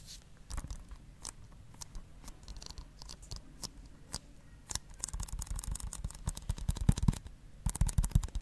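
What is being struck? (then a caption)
Plastic disc case. A hollow blue plastic Blu-ray case, held in one hand, is scratched and tapped with fingernails. Quiet, sparse dry clicks come first, then the scratching grows denser and busier with sharp, short taps, all low and soft with quick, dead decay.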